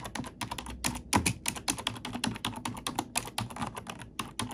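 An index fingertip with a long nail taps and types on the black plastic keycaps of a plastic computer keyboard. A quick, steady run of short, dry clicks and clacks is heard, each hit bright and crisp with a soft low thump beneath, dying away almost at once.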